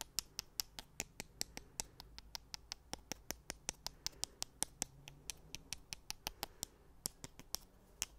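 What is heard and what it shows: Two thin, solid wooden sticks held in the fingers are tapped and rubbed against each other close to the mic. The result is a steady run of about 38 quiet, bright, dry clicks, each dying away almost instantly, spaced a little over a fifth of a second apart over a faint low background hum.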